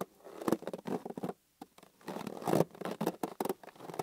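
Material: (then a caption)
Latex rubber. Fingers rub and squeeze a hollow, green inflated latex balloon held in both hands, making a quick run of soft rubbery squeaks and scuffing pats centered in the low midrange. The bursts come in uneven clusters with a brief silent pause in the middle, and each sound stops almost instantly with no ring.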